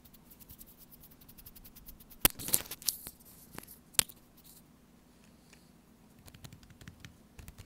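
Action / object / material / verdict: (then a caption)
tap / small sealed foil-plastic food pouch / foil laminate / none. Long orange-painted fingernails tap and scratch a small, flat, sealed and full laminated foil-plastic StarKist tuna pouch lying on a woven placemat. Quiet, bright, crinkly ticking runs throughout, broken by six louder, sharp clicks in the middle of the clip, each dying away almost instantly with no ring.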